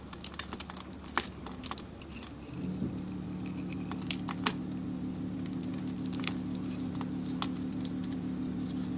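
A hand with long pink nails holds an Aries glitter-coated solid soap bar while a metal blade scrapes off the coating to reveal white soap underneath. Brittle, bright scraping ticks and crackles come in irregular bursts. From about 2.5 seconds, a steady low hum sits beneath them.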